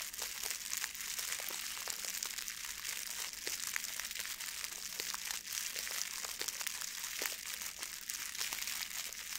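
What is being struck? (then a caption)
Plastic foil gift bow. A blue metallic plastic ribbon gift bow is crumpled and rubbed with the fingers. A steady, quiet stream of bright, dense crinkling and crackling with many sharp little snaps runs through the clip, with almost no low end.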